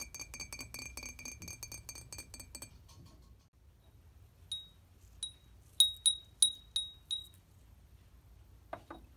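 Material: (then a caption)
Glass. An antique glass object in an antique shop is tapped, producing bright, high-pitched clinks. A rapid run of tinkling tones comes first, then, after a brief pause, about seven separate ringing taps, each fading quickly, and a final soft tap near the end.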